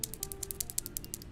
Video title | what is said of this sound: whispers from the past become the hymns of today (つ✧ω✧)つ | it doesn't sound like glass this is a glass container it sounds like plastic cuz I'm tapping on it with nails